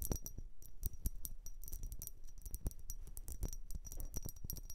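Long nails tap and scratch along the sides of a tall, hollow, dark blue ribbed glass vase that appears empty. The result is a quiet, rapid series of sharp, dry clicks with bright high ticks and faint scratching between them, with no lingering ring.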